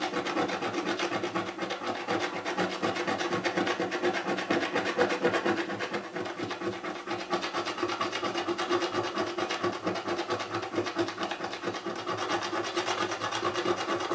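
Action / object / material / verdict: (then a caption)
scrape / cardboard box lid with scratch-off film / cardboard / none. A coin held between the fingers scrapes the grey scratch-off film on a hollow cardboard box lid in repeated short strokes. The result is a dry, raspy scratching that runs almost without a break at a steady level, with a slight hollow midrange resonance from the box.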